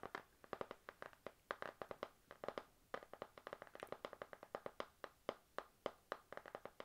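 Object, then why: Spiral notebook with laminated card cover. Long nails tap rapidly on a panda-print spiral notebook with a glossy laminated card cover over a solid stack of paper. Dozens of crisp, dry clicks come in quick clusters; each dies away almost instantly, with a light midrange tone around 570 Hz and almost no low end.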